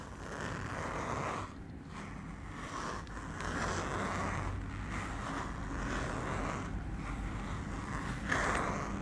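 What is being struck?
Fabric pouch with a zipper.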